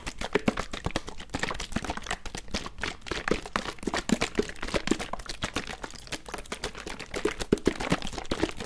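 A medium plastic bottle, mostly full of red liquid, with a white cap and a paper label, is held in one hand near the mic while it is shaken and handled by the fingertips. A dense, continuous run of quick taps, clicks and crackles is heard, with hollow low thumps around 370 Hz and bursts that swell louder in places.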